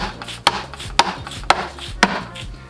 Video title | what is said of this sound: How to install a LSD in a DQ500 | Hollow sound usually means you got all the bolts